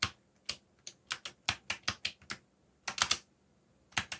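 Fingertips type on a backlit mechanical keyboard with black plastic keycaps, with brief pauses between bursts. About fifteen short, bright, clicky keystrokes are heard, each dying away almost instantly with very little low end.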